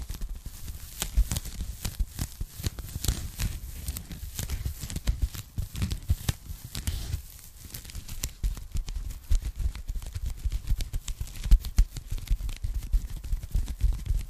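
Long nails and fingertips tap and scratch across a thin, flat, hollow pink polyethylene foam packing sleeve held behind the microphone. The result is a dense run of short, dry taps and crinkly scratches with a strong low thump and a faint bright hiss. The activity eases briefly around the middle before picking up again.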